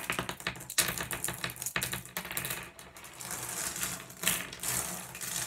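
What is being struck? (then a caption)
Small glass gem pebbles on wood. Fingers drop small solid blue glass gems onto a pile of them resting on wood, then sweep through the pile. Rapid, overlapping bright clicks and clinks rattle throughout, with a few sharper clacks standing out as gems land.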